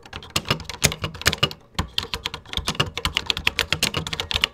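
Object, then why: Plastic computer keyboard. Fingertips type continuously on the beige keys of a vintage 1980s plastic computer keyboard, producing around thirty quick, bright clacks. Each keystroke has a hollow low thump underneath and dies away almost instantly.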